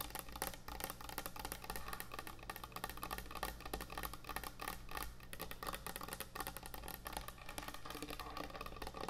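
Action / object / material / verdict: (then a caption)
tap / thick wooden end-grain butcher block cutting board / wood / none. Fingernails tap fast on a large, thick, solid wooden end-grain butcher block cutting board, moving toward the board's edges at the end. The result is a dense, continuous stream of short, dry, woody clicks with almost no ring, over a steady low hum.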